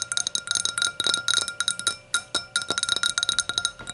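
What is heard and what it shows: Long nails tap quickly across the thin walls of the curved, hollow bowl of an empty clear hurricane glass standing upside down on a towel. Each tap gives a short, bright glassy clink with a brief ring, centered near 3.8 kHz with a steady tone around 1.4 kHz, in an uneven, rapid run of taps.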